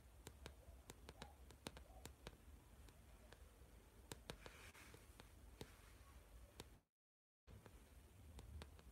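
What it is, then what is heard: Plastic-covered spiral notebook. Fingertips with short nails tap and scratch the glossy plastic cover of a blue spiral-bound notebook with a metal spiral, held upright. Quiet, sharp clicks are heard over a low, steady rumble, with a brief full silence near the end before the tapping resumes.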